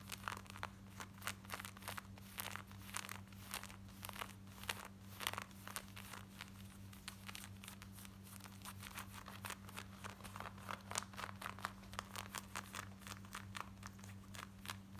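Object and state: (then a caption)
Denim jeans being scratched. Long nails rapidly scratch the front pocket and back pocket area of worn black denim jeans. Dense, dry, bright rasping strokes follow one another quickly over a steady low hum throughout.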